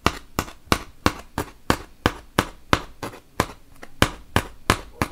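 A wooden toothpick is poked repeatedly into a large, solid white melamine foam magic eraser block. It makes about fifteen sharp, bright pops at a steady pace of roughly three per second. Each pop dies away almost instantly.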